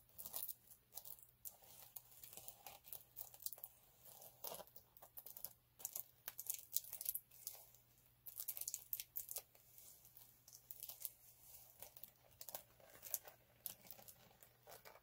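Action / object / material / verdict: scrape / chunky glitter sheet / glitter / none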